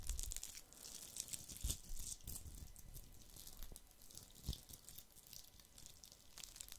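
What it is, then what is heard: Glitter-covered plastic Christmas bauble. A hollow, fist-sized red glitter-coated plastic Christmas ball ornament is held in one hand and scratched with fingernails. The result is dense, crackly scratching with a bright, hissy texture and occasional soft low bumps.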